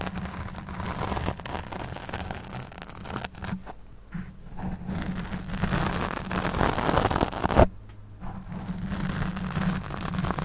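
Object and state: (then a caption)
Foam microphone windscreen being scratched. Long nails scratch and rub a black foam windscreen fitted over a condenser microphone head. The result is a close, continuous rustling scrape with a heavy low rumble and a steady low hum, interrupted by brief quieter gaps before the scratching resumes.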